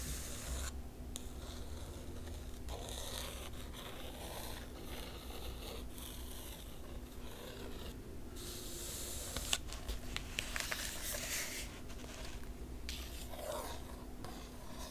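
Long pale manicured nails trace and scratch across both glossy printed paper pages of a large open hardcover art book lying flat on a table. Soft, steady rubbing and bright, raspy scraping continue throughout over a constant low hum, with a few sharper scratches standing out near the middle.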